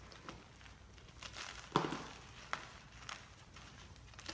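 Gym chalk pieces (magnesium carbonate) are crushed and rubbed into powder by both hands over a chalk mound. The result is a dry, crumbling crunch, with soft gritty rustling between a few sharper cracks. The loudest crack comes near the two-second mark.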